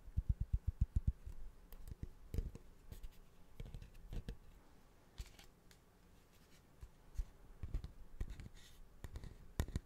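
A large, curved, polished cattle horn, light with dark streaks and hollow at the wide end, is held in one hand in front of a microphone and tapped and scratched with fingertips and nails. A quick run of dull, low, dry taps opens the clip. Softer scratching and rubbing follows, broken by scattered taps that die away instantly without ringing.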